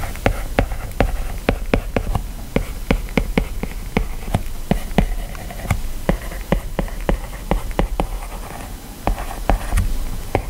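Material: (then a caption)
Glass. A hand-held plastic stylus writes lines of text on an iPad's glass screen, stroking and tapping the surface. Steady sharp, brief clicks sound over a low background rumble, with faint scratchy strokes between them.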